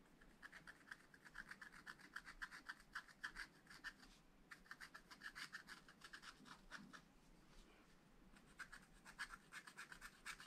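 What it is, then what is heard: Scratch-art paper being scratched with a wooden stylus. A wooden stylus scratches and rubs the black coating of a scratch-art paper page in a spiral pad. It makes quiet, rapid, dry rasping strokes with a focused midrange scrape and a bright hiss. The strokes come in bursts, with a brief pause near 4 seconds and a softer stretch before they pick up again near the end.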